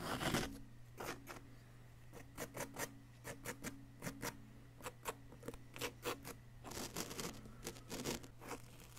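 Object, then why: Plaster excavation block scraped with a wooden chisel. A wooden chisel scrapes a solid yellow-green plaster dig-kit block, with powder piling up around it. The clip is a series of short, dry, bright scratching strokes over a faint steady low hum, with many quick bursts spread across the clip.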